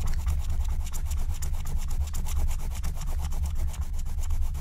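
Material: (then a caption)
Coated paper. A wooden stylus scratches and rubs the coating off a thin, black-coated scratch-art card lying flat. Quick, steady back-and-forth strokes make a dry, raspy scratching over a low, rumbling undertone. The strokes carry bright streaks throughout.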